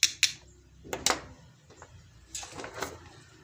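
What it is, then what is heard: Laptop charger with a loose metal piece inside. An opened laptop charger housing is dropped and knocked to shake loose a metal piece stuck inside, giving six sharp, bright clicking taps with very short decay and quieter rattles between them. A strap-like metal bit, first thought to be a component leg, falls out and is judged the likely cause of the charger's short circuit.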